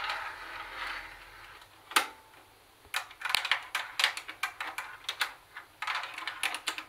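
Long acrylic nails tap across a hollow plastic Sony CFD-101 CD cassette boombox, hitting its plastic top, the cassette door and the buttons. Sharp, bright, clicky taps come in uneven quick bursts after a soft, hissy rustle at the start, each tap dying away almost instantly with a light, hollow plastic tone.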